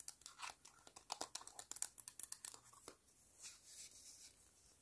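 Long pointed nails tap and scratch a palm-sized green hollow vinyl Sumikko Gurashi penguin figure, making a quiet run of quick, bright, crisp clicks with a crinkly, tearing texture and almost no low end. After about three seconds the tapping gives way to softer, steady scratching.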